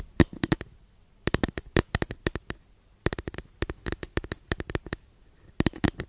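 Long nails scratch and tap a long, flat, thin, solid wooden incense holder held behind the microphone. The result is four bursts of quick, sharp, dry clicks separated by short pauses. Each click is bright and dies away almost instantly.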